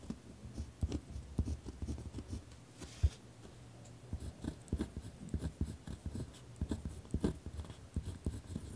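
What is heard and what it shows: A ballpoint pen is dragged across a single torn-out sheet of lined notebook paper lying on a wooden desk while writing, the other hand resting flat on the desk. The writing comes as a steady run of short, low scratching strokes with faint bright edges and brief quiet gaps.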